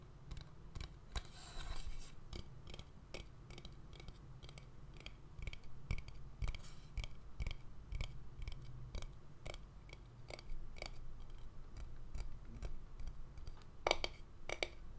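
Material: Wood.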